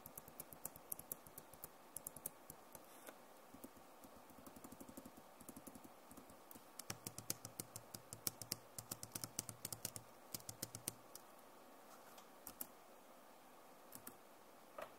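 Long nails tap across the plastic keycaps of a backlit Acer laptop keyboard, making dozens of quick, bright, dry clicks that stop instantly with no ring. The taps come in uneven bursts at a low level, over a faint low hum.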